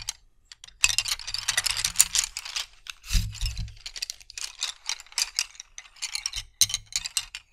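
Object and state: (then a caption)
Wooden colored pencils. Fingertips gather, roll and rub a bundle of about twenty thin, solid wooden colored pencils on a carpet, making them clack and scrape against each other. Quick, bright wooden clicks and rattling scrapes come in dense bursts, with soft low thumps near 1 s, 3 s and 6.5 s as the pencils shift together. Each click dies away almost instantly, with short pauses between the clusters.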